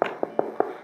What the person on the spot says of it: 이건 그냥 나무판 했잖아요 이렇게 나무 소리가 나요